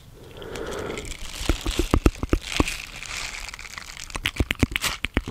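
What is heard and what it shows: A small round green silicone scrubber pad with bristles is held in the hand near the mic while fingertips and nails scratch and rub across its silicone bristles. A soft, breathy rubbing in the first second gives way to irregular, sharp crinkly scratches and crackling taps with a bright edge and a low thump beneath, each dying away almost instantly.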